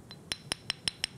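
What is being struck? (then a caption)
Motorcycle brake pad, metal backing with friction lining. A motorcycle brake pad (brake lining) is knocked six times in quick succession, the first tap faint. Each tap is a short, dry, bright click with almost no ring and little low end.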